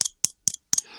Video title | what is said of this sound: Episode 21 Yo-Yo Talk - Jon Gates - Godfather of 4A yo-yo division | it's hollow this thing is actually hollowed out